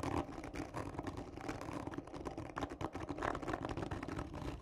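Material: Cardboard.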